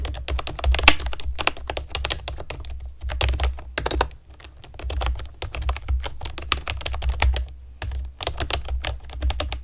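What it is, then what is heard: Plastic keyboard with round keycaps. Typing on a pastel plastic keyboard with round keycaps, struck with long nails and fingertips. Fast, steady clicks and clacks come in quick bursts with brief pauses, each keystroke sharp and bright, over a low, steady rumble.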